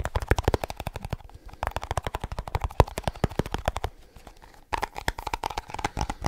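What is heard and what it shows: Fingertips quickly tap the lid and rim of a small, round, hollow plastic snus tin held close up in one hand. The result is rapid runs of short, dry, hollow clicks and thuds with almost no ring, broken by brief pauses.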